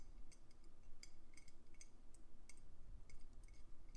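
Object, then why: Round Christmas bauble ornament. Traditional round Christmas bauble ornaments with painted winter scenes are tapped while hanging on the tree, giving a quick series of small, bright clinking ticks that fade almost instantly. A low, steady rumble sits underneath the taps.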